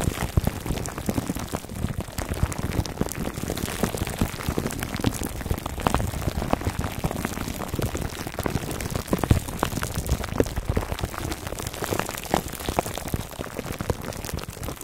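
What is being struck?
Foam microphone cover in plastic wrap.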